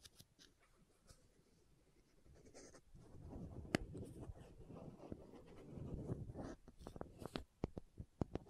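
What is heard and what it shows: Long nails scratch a small, hollow green and white plastic contact lens case held close to the microphone and twist its screw lids. Quiet, low scratching and rubbing build into a denser grinding texture, then give way to a series of sharp, bright plastic clicks and taps near the end.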